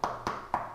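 Three taps on a resin/composite replica KITT Knight Rider gullwing steering wheel give short, dull knocks centred near 965 Hz that die away quickly. The wheel sounds solid and heavy rather than hollow.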